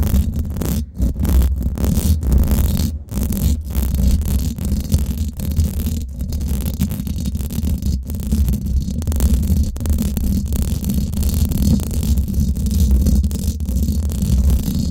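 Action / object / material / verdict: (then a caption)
scrape / steel mesh microphone grille / steel mesh / none. Long acrylic nails scratch the hollow domed steel mesh grille on top of a Blue Yeti microphone, at fast and slow paces. The result is a steady, deep rumbling scrape concentrated in the low end, with brief dips where the nails lift off the mesh.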